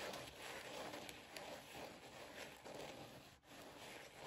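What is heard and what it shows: Long nails scratch and tap the glitter ears of a rose-gold Minnie ears headband with a sequin bow, lying on a blanket. The result is a steady, dense, scratchy rustle with bright, gritty texture and soft brief ticks, dipping quiet for a moment near the end before continuing.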